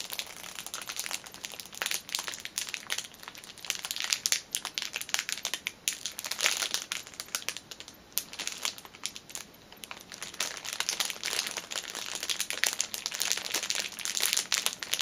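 Fingernails scratch and knuckles press and crinkle the loose cellophane wrapper around a folded fitness band in its package. The result is a steady stream of sharp, bright crinkles and crackles that swell and ease over the clip, with almost nothing in the low end.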